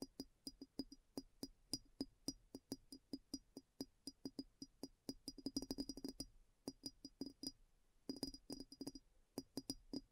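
Long nails tap the base and sides of a clear glass bowl that sits upside down, hollow and empty, over a recorder on a black table. Quick, dry taps come in a steady stream with brief pauses, each a short low knock carrying a bright glassy clink on top. The pace quickens into fast flurries around the middle and again near the end, and each tap dies away almost instantly.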